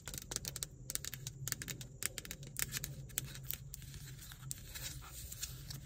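Long nails tap rapidly on the sides and lid of a hollow black plastic car ashtray cup. Each tap makes a short, bright, dry click with almost no ring. A steady low hum runs underneath the whole time.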